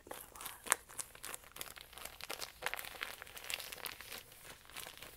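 A small flexible plastic catnip pouch with a printed label, filled with dried herb, is crinkled and rubbed between the fingers. Dense, bright plastic crinkling and rustling carries on throughout, with sharp crackles poking out, almost no low end and no ring after each crackle.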